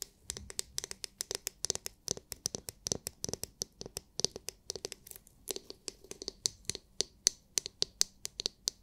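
Long nails tap and scratch the hard, clear, glitter-filled plastic dome of a palm-sized oval massage brush with plastic bristles, held in the hands. A quick run of sharp, bright clicks comes with faint scratchy rustling between them. Each tap stops almost at once, with no ring.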